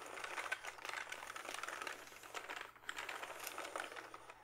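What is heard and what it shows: Fingertips type and press on the keys of a full-size plastic backlit membrane gaming keyboard held upright. The result is a quiet, steady stream of short, soft, crisp clicks and clatters, bright and thin with almost no low end, each tap dying away almost instantly.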